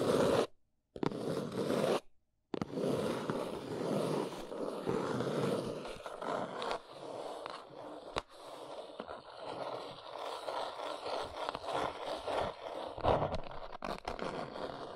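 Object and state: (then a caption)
Cardboard box scratched with nails. Long nails scratch and tap along the top edge and sides of a small, hollow brown cardboard box, making dense, papery midrange scraping. Two brief silences break the opening seconds, then the scratching continues more softly with a few sharper taps standing out.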